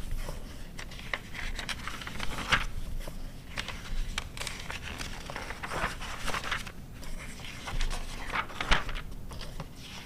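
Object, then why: Glossy coated paper magazine. Long nails and fingertips turn, rub and scratch the thin coated pages of an open glossy paper car magazine from 2009. Soft crinkling rustles and dry scratching fill the clip over a low rumble, with a few sharper, brighter crackles as pages flip.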